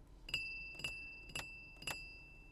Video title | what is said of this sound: Rolls-Royce Spectre 2023 - First Drive - OtoDriver | ada bunyi Ting Ting di ventilasinya jadi kalau ventilasinya saya geser dengan kuku ada bunyinya seperti ini